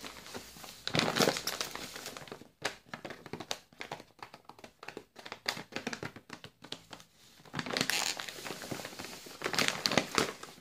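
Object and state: Crinkled plastic biscuit bag.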